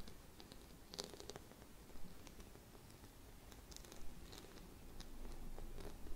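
A small, round, gold glitter-coated Christmas bauble, held in both hands, is scratched and tapped with long red nails. Quiet, dry scratching and crackly rustling carry short, bright clicks scattered irregularly across the clip, over a low rumbling background.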